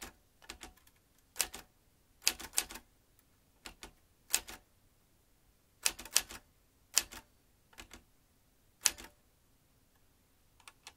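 Fingertips tap the round keys of a vintage metal manual typewriter with exposed metal typebars and an ink ribbon spool. Quick, bright metallic clacks come in short irregular bursts with quiet gaps between them, each strike dying away almost instantly.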